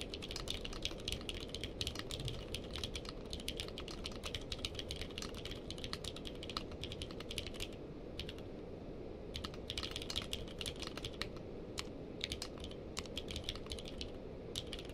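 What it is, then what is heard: Mechanical keyboard with plastic keycaps. Fingertips of both hands type continuously on a navy/purple-case mechanical keyboard with plastic keycaps. Rapid, bright key clicks come in dense bursts over a steady low background hum, with a short pause around the middle before the typing resumes.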